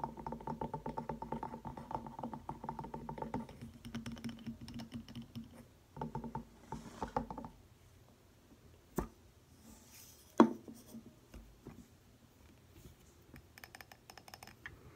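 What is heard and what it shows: A medium glass candle jar filled with solid white wax and bearing a label is tapped and scratched with long painted fingernails, then turned to show the wax top. Quick, dry clicks and patters with a steady low-mid tone ring out in dense bursts through the first half, thinning to scattered taps with one sharp, louder knock near the end.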